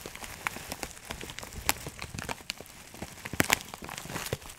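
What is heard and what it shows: A clear plastic bag of dried herbs, filled with small dried granules, is held in both hands while fingertips squeeze and rub it. This makes a dense, soft crinkling and crackling, like light rain on a surface. Quick, bright ticks with almost no ring-out sound over a faint low rustle.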